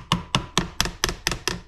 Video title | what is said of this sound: 1994 Club Car DS, Gas - It Just Stopped and Won't Start! | hear that sound here how it changed tone as i tapped it closed